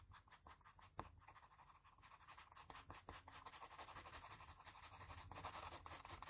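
A patterned blue wooden graphite pencil shades around an eye on a flat sheet of drawing paper resting on a firm surface, using quick back-and-forth strokes. The result is a dry, bright scratching hiss that pulses with each stroke and grows denser and steadier as the shading continues.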